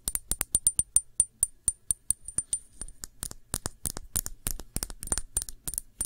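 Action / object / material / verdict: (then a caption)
tap / small glass shot glass / glass / none. Long nails tap the sides and rim of a small, clear, hollow, empty glass shot glass held in the hand. Quick, bright clicks carry a short high ring. The taps start in a steady run, then turn faster and more irregular.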